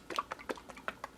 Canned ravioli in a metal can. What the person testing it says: when I shake the can you can hear it it sounds kind of soupy